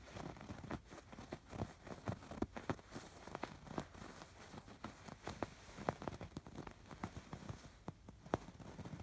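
Fingertips and nails scratch across the raised diamond embroidery of a soft, stuffed embroidered fabric pillow. The result is a quiet, steady run of quick, dry scratches and rustles, mostly low and muffled with little brightness, each stroke dying away almost at once.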